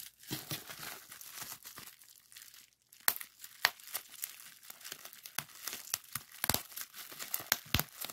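A clear plastic bubble wrap sheet with hollow bubbles is pinched and pressed between thumbs and fingertips to pop it. Soft, bright crinkling gives way to a brief near-silent pause, then a string of sharp, dry pops follows, each snapping off quickly amid continued rustling.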